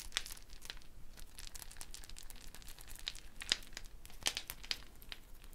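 A round, hollow dried gourd shaker wrapped in a wooden bead net is held while fingertips and nails rub and pluck the beads. The result is a quiet, steady stream of dry, crinkly rattling, dotted with sharper, bright clicks that stand out here and there.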